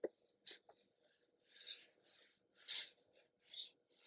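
A small kraft cardboard retail box for a Starbucks paper camera, hollow and apparently still closed with its contents inside, is held in both hands and turned from front to back while black-gloved fingertips rub and scratch across its printed surface. A few quick dry ticks open the clip, followed by three longer, bright, rasping scratch strokes with faint rubbing between them. Each sound stops dead with no ring.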